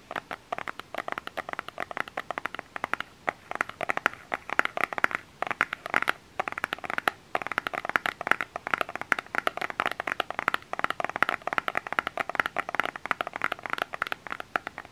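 Fingernails tap and scratch a small plastic lotion bottle with an orange cap and printed label. Rapid, dense, light clicks and scratchy rustling sit mostly in the bright midrange, each tick dying away almost instantly, with brief pauses near the middle.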